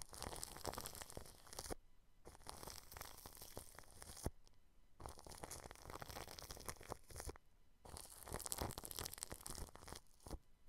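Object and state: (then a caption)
Cling film over a microphone, brushed. A paintbrush brushes clear plastic cling film wrapped over a microphone grille, producing dense, crinkly scratching with a deep, muffled rumble underneath and bright rustle on top. The brushing comes in four passes separated by short quiet pauses.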